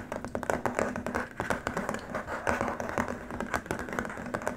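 Both hands scratch and tap with short nails and fingertips on a long, flat, white, rigid plastic keyboard wrist rest. The result is a rapid, steady stream of short, dry clicks and scratchy rustles with a mid-range tone and almost no ring.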